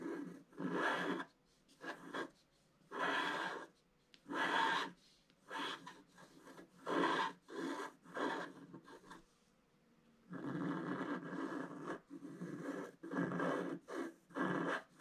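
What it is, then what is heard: Scratch art paper being scratched. A wooden stylus scratches green leaves into a flat scratch art paper sheet with a black coating. Short raspy scratching strokes come in bursts separated by brief pauses, then turn into a longer, steadier run of scratching near the end.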